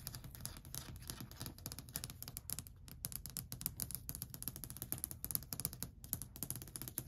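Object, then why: Varnished wooden shelf tapped with acrylic nails. Long white acrylic nails rapidly tap and scratch along a long, flat, solid varnished wooden shelf ledge. The result is a dense stream of crisp, bright clicks over a soft, low wooden knock, each tap dying away almost at once with no ringing.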